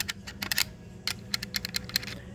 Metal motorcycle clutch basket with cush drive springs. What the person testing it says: see that one? Rattling in the case.